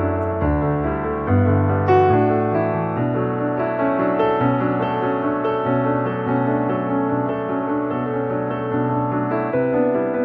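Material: Nothing is struck.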